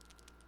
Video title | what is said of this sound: Testing L'Oreal's Viral Faux Brow Tint - Honest Review on Sparse Brows | you're supposed to shake it. You can hear the little shaky thing in it.